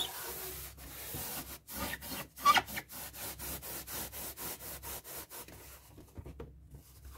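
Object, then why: Inflated latex balloon rubbed with a paper tissue. A paper tissue is rubbed back and forth across the surface of a hollow, light blue inflated latex balloon held in the hands, wiping off ink. The rubbing makes steady rhythmic swishing strokes with a bright hiss, and a brief squeaky rubber tone near 1.2 kHz rises out of it. The strokes then fade into softer, scattered brushing.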